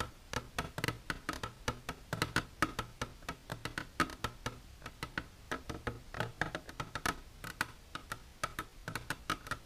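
Long natural nails with silver polish tap continuously on a plastic container. Dozens of quick, dry clicks come in an uneven stream, each with a hollow tone near 1.3 kHz and almost no ring.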